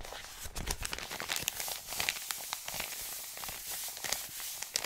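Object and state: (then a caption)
Paper mailer envelope. An Amazon kraft-paper padded mailer is held, crinkled, and rubbed with the hand and fingertips. The result is a quiet, steady stream of bright, papery crinkling and scratchy rustling, broken by short sharp crackles. There is very little low end.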